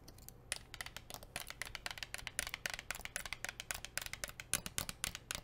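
Long nails tap quickly and unevenly on a blue plastic sports water bottle with a printed label. The taps are sharp, bright, hollow clicks that die away almost instantly, over a faint low hum.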